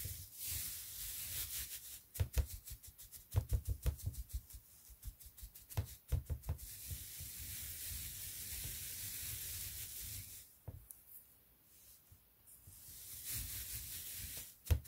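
Fingertips and nails of one hand, then both hands, press, rub and scratch through a large, loose heap of thin white shredded paper strips on a dark surface. The fluffy pile gives a steady, bright, crinkly rustle broken by short, sharp crackles and soft taps. It thins to a quieter hush near the end before a final louder crackle.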